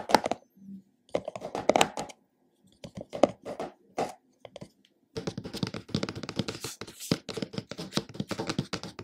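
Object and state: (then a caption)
Plastic jar lid tapped with fingertips. Fingertips of both hands tap and drum on the black plastic lid of a hollow, medium plastic supplement jar. Short, dry, hollow clicks come in quick bursts separated by brief pauses, then turn into steady, rapid drumming for the last few seconds.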